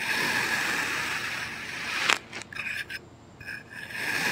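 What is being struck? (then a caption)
Packed kinetic sand mound cut with a plastic knife. A green plastic knife slices diagonally through a solid heart-shaped mound of packed red kinetic sand that is already cut in parallel lines, rubbing and cutting the sand. A steady, bright, gritty scrape runs for about two seconds and ends in a sharp crunch. Quieter, broken scraping strokes with a faint tone near 2 kHz follow, then the scraping swells again at the end.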